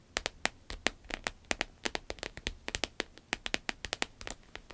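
Long acrylic nails tap and scratch a small, flat, red glossy croc-embossed vinyl wallet with a zipper lying on a table. About 29 quick, crisp taps come in an uneven rapid run, each a bright, dry click with almost no ring. Light scratchy texture fills the gaps, and there is very little low end.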